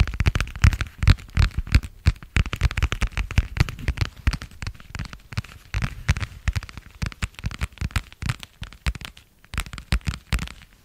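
A thin, flexible, pale blue translucent vinyl plastic cover is tapped and scratched with fingertips and long nails. The result is a rapid, uneven stream of short, dry crackling taps with soft low thuds and brief bright scratchy edges. Each tap dies away almost instantly, with occasional short pauses between bursts.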